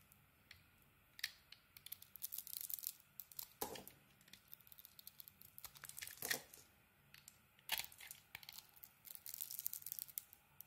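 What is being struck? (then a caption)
Bar of soap cut with a metal blade. A metal blade shaves a solid green bar of soap with a white core and a sequin coating. Bright, dry scraping and crackling strokes come in quick bursts, with little low end and almost no ring, over a quiet background.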